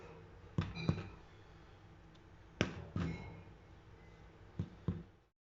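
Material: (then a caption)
Bread. A baked herb bread loaf with basil and oregano, golden brown, is tapped six times in three quick pairs to check doneness. Each tap gives a short, low, hollow thump that fades almost at once against quiet background hiss. The hollow sound shows the bread is done.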